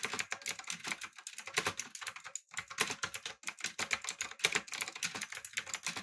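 Fingertips type on a backlit typewriter-style mechanical keyboard with round plastic keycaps. A rapid, uneven stream of short, bright clicks carries most of its energy in the high range, with a few brief pauses between bursts.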